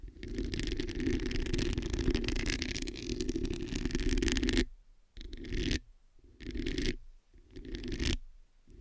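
Long acrylic nails scratch all over the hollow metal mesh head of a black microphone. A dense, scratchy rasp with a low rumbling body and a bright hiss runs steadily for about four and a half seconds, then breaks into shorter scraping bursts separated by near-silence.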